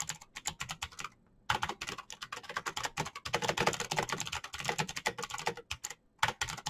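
Both hands type fast with their fingertips on a backlit plastic Razer BlackWidow mechanical keyboard, pressing the keycaps down onto its clicky green switches. A rapid stream of sharp, bright clicks and clacks is heard, briefly pausing twice before the typing resumes.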